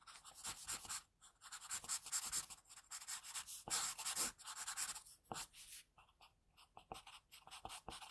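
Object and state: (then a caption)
Graphite pencil scratching on paper. A hand-held graphite pencil scratches long and short strokes across a thin, solid sheet of flat white drawing paper resting on a desk. The result is a dry, bright, hissy scratching that comes in uneven bursts with brief silent gaps. Quicker, lighter strokes fill the last few seconds.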